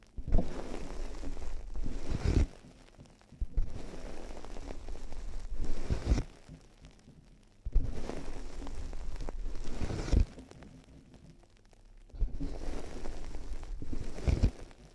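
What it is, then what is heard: Plastic headphone earcups tapped with fingertips and nails. Fingertips and long nails tap on the hollow white plastic earcups of headphones resting on a binaural microphone. The taps come in four dense bursts of a few seconds each, separated by quiet pauses, giving dull, low, hollow thumps with sharp clicks and little ring.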